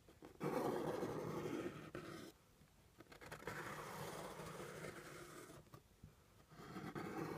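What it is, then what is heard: Cardboard box being scratched. Fingernails tap and scratch the top edge of a hollow brown kraft cardboard box resting on a table. Three stretches of dry, papery scratching, strongest in the low mids, are separated by quieter pauses with a few light taps.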